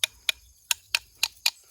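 Pieces of wood charcoal from a first burn are knocked together six times, each knock a sharp, bright tick or clink that stops almost at once. The clear ring marks the charcoal as properly carbonized.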